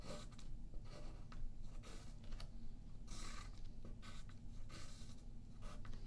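A yellow wooden graphite pencil makes short scratching and tapping strokes on a thin sheet of white paper lying flat on a wooden table, held down by the left hand. Bursts of dry, bright scratching come and go over a steady low rumble, with quick taps between strokes throughout the clip.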